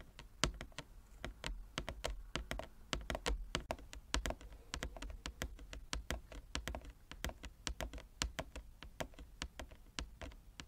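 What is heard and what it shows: Both hands tap quickly with long nail tips across a large, flat wooden chess board with inlaid squares. Dozens of sharp, dry clicks follow one another in a fast, uneven patter, each bright and very short with almost no ring. A faint, steady low hum runs underneath.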